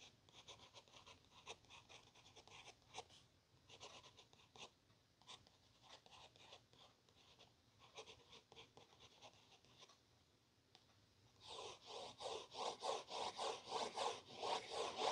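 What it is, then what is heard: Paper book page scraped with a capped pen. Rapid, fairly regular scratchy strokes with no ring at all, each a brief hiss centred in the upper mids and highs. A hard pen tip is dragging over thin printed paper; the strokes turn noticeably heavier and brighter in the last few seconds.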